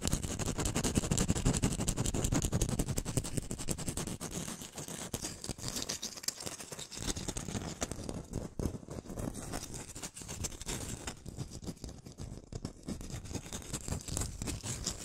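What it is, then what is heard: Orange. Long nails rapidly scratch and tap the peel of a whole, solid orange held in the hands, making a dense, irregular stream of short scraping clicks with a low, thumpy body and a bright crackly edge. It is loudest in the first few seconds, then continues a little softer.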